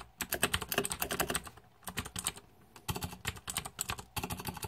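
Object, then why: Mechanical keyboard with plastic keycaps. Fingertips type on a green-backlit Razer 2014 Deathadder mechanical keyboard with plastic keycaps. Quick runs of bright, clicky keystrokes with a low thock underneath come in three bursts, separated by two short pauses.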